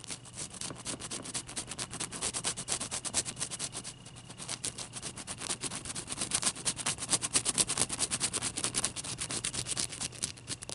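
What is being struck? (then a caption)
Large ice cube. Fingernails tap rapidly on a large, clear, solid ice cube held in both hands. The result is a fast, steady stream of short, bright, crisp clicks that stop almost instantly, over a faint low hum.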